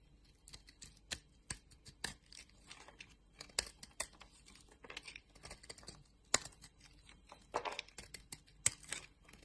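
A utility knife blade scrapes and carves curls off a solid orange bar of soap held in the palm of a hand with long dark nails. Soft, bright scraping and crisp shaving clicks come in irregular bursts over a quiet background.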